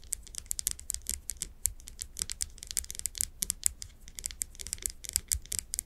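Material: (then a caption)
Glass. Long acrylic nails tap and scratch the glass sides of a medium glass candle jar, filled with solid wax, with its wooden lid on, held in both hands. A rapid, uneven run of crisp, bright clicks and scraping ticks dies away almost instantly, over a faint low rumble.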